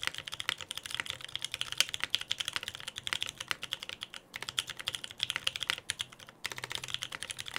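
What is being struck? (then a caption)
Mechanical keyboard with plastic keycaps. A Frog TKL mechanical keyboard with lubed Pewter switches, a dark case and white and black PBT plastic keycaps, sits on a desk mat while both hands type on it with their fingertips. It gives a fast, steady stream of short, bright clacks with almost no ring and brief pauses in the rhythm.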